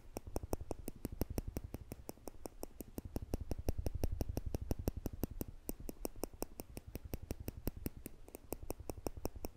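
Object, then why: Stainless-steel tweezers. Small, solid stainless-steel tweezers are held in the fingertips just above a microphone, and their two tips are pressed together and released so they click against each other. The result is a rapid, fairly steady run of sharp, very short metallic clicks with bright tops over a low, soft rumble.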